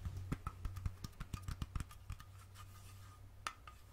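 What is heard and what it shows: Long fingernails tap the metal screw lid of a small glass mason jar with purple contents, held in the other hand. A quick, uneven run of sharp, dry clicks comes over a steady low hum, with a few brief scratchy strokes between them. The taps thin out toward the end, with one last louder click near the close.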